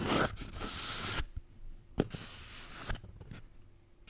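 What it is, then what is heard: Toilet paper roll. A paper toilet roll is tapped and scratched. Bursts of bright, dry, papery scratching alternate with short, sharp taps and quiet pauses in between.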